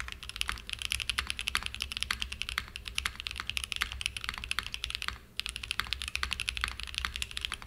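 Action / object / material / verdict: tap / mechanical keyboard with aluminum case and plastic keycaps / aluminum, plastic / none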